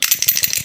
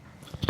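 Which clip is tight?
The second.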